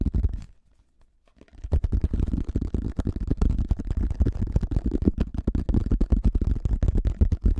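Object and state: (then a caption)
Plastic flying disc. Fingertips rapidly tap and scratch a pink plastic frisbee, a hollow thin shell held over the mic. A brief burst of tapping fades into near silence for about a second. Then a dense, fast run of dull, bassy thumps and scratchy clicks continues to the end.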